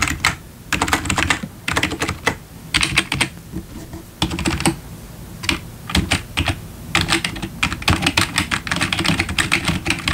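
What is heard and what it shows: Fingertips tap the keys of a black plastic backlit computer keyboard, at times with one hand. Bursts of quick, bright plastic clicks come in short runs separated by brief pauses, with a soft low thump under each flurry.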